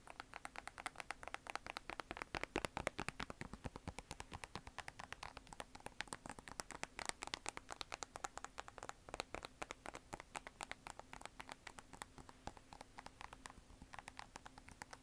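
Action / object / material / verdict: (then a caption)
tap / sneaker with mesh synthetic upper and plastic air sole / synthetic mesh / none. A Nike Air Max 270 sneaker with a mesh/synthetic upper on a hollow plastic air-unit sole is held up in one hand while long nails tap and scratch across the upper. A dense, steady stream of quick, dry clicks and scratches sounds close and crisp, each one dying away almost instantly over a faint low hum.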